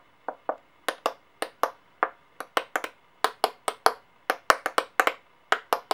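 Long dark-painted fingernails pick up several small solid brass-colored and silver metal coins from a white clipboard and tap and click them against each other and against the coins lying flat. About 23 short, sharp metallic clicks sound at an uneven pace, each with a bright ring around the midrange that dies away almost instantly. There is no low end and only quiet pauses between taps.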